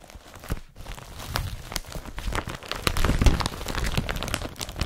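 Fingers grip, crumple and rub an empty blue woven polypropylene IKEA BRATTBY carrier bag with a yellow strap. A continuous stream of crisp crinkling and rustling is heard, with sharp bright crackles over a soft low rumble of handling, growing a little louder and busier toward the end.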